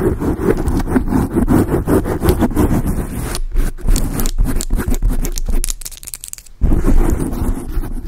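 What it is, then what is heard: Foam microphone windscreen being scratched. Long acrylic nail tips scratch a large dark grey foam windscreen on a microphone, making a dense, rapid, muffled scraping that is heavy in the low end. The scratching runs steadily, dips quieter for a moment near the end, then comes back at full level.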